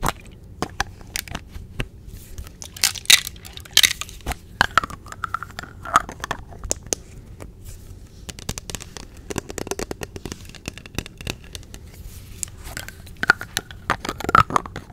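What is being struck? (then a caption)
Small plastic squeeze tube with plastic cap. Long nails tap and scratch the yellow plastic cap of a small, hollow white plastic sunscreen squeeze tube. Dense, sharp, bright clicks and crackly scrapes come with short squeaky tones around 1.4 kHz. Each hit dies out almost instantly, with little low end.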